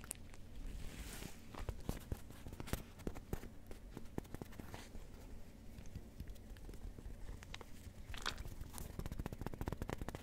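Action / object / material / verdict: scrape / fabric-covered rubber hot water bottle / fabric, rubber / none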